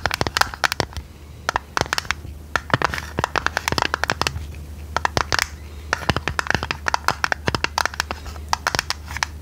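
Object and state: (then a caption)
Metal tea tin. A hollow, medium-size printed purple tinplate tea canister with its lid on is tapped and scratched with long red nails. Rapid, irregular bursts of sharp, bright clicks sit over soft scratching and a steady low hum. Each tap dies away almost instantly with very little ring.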